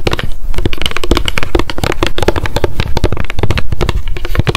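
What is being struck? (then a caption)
Paper spiral notebook with card cover. Long decorated acrylic nails tap fast on a small pink m.memo spiral-bound paper notebook with a card cover, held in the hands. A dense, continuous stream of short, dry clicks and soft thuds comes through, with very little ring after each tap.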